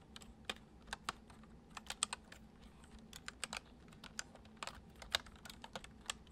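Fingertips type continuously on a white plastic computer keyboard, producing about 22 soft, bright, short clicks in an uneven rhythm. A faint steady low hum sits underneath the quiet keystrokes.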